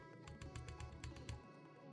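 Light taps on the metal fan shroud inside a 2024 ASUS G16 laptop, the solid reference shroud, make eight short, dull knocks with quick clicky tops over a low background hum. Each tap dies away quickly, and the shroud sounds solid and secure.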